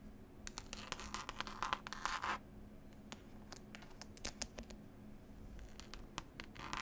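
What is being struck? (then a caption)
Cloth-covered hardcover book with paper label. Long pointed nails scratch and tap the paper picture label and green cloth cover of a closed, solid hardback book. Quiet bursts of dry, bright scratching alternate with short sharp taps that die away almost at once, over a faint steady low hum.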